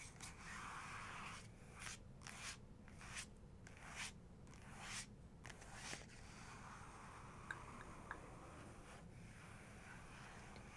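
Long fingernails on both hands rub and tap the glossy paper of a photo book page, making soft, bright, papery swishes in quick bursts during the first six seconds. The rest is quieter rubbing over a low, steady background hum, with a couple of sharp nail taps around the eighth second.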